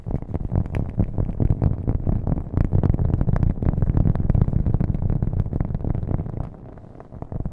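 A round, flat cork coaster held close to a microphone is tapped rapidly with fingernails, making a dense stream of dull, low, thumpy taps with an added echo. The tapping stays steady for most of the clip, drops quieter near the end, then picks up again briefly.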